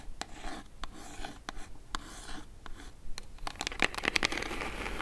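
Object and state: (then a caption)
Cardboard box tapped and scratched with nails. Long acrylic nails tap and scratch the top of a small, hollow brown kraft cardboard mailer box with a Zinff logo, lying on faux fur with its contents not visible. Quick, irregular dry clicks mix with papery scratching rasps, growing denser and louder toward the end.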